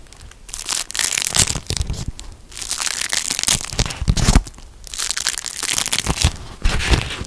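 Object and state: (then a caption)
Beeswax-coated cotton food wrap being crinkled. A thin, patterned beeswax-coated cotton food wrap, folded and held in both hands, is crinkled and rubbed with the fingertips. Dense, bright crinkling and crackling comes in several bursts with brief quieter gaps between them, and a low rumble sits underneath.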